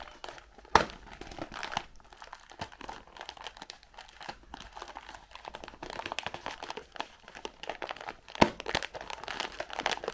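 Long pink nails tap and scratch the faces and corners of a white printed cardboard Raffaello candy box, hollow and filled with candies, as it is held in both hands and turned. Quiet, papery crinkling and scratching runs throughout with many light, dry taps, and two sharper, louder taps stand out near the start and near the end.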